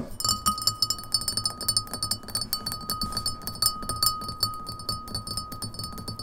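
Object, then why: Glass pint glass. Long nails tap quickly on the sides of an empty, hollow, clear printed beer pint glass standing on a table. The result is a rapid, uneven run of bright glassy clinks, each very short, over a faint sustained ringing tone.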